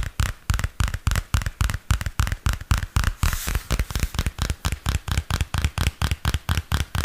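Fingernails tap and scratch the glossy card cover and spiral of a small purple spiral-bound paper notebook. The clip holds a steady run of 31 quick, dull taps with a deep low thump and a very short decay. About halfway through, a brief bright scratching rasp sounds between the taps.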